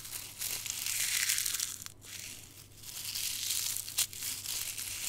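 Dried dark red rose petals are squeezed in a closed fist and crumbled between thumb and fingers, crushing and grinding the brittle, dry plant material. The result is a dense, bright crackle and crunch that swells and eases, briefly dipping near the two-second mark, with a sharp snap just before the end.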